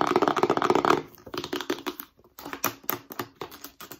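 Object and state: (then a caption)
Hollow cardboard box. Long nails scratch and tap the surface of a long, narrow, white, rigid cardboard accessory box that is hollow and held vertically. The first second is a dense, fast run of dry, hollow-sounding scratches and taps. After that come quieter, spaced-out clicks and taps with a short, boxy resonance and brief, crisp high edges.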